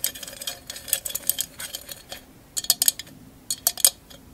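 Long acrylic nails tap a tall, hollow, empty vase-shaped candle holder, covered in small mirrored glass mosaic tiles and held upright. Quick, bright, clicky taps come in irregular clusters separated by brief pauses. Each tap dies away almost instantly, with no ring.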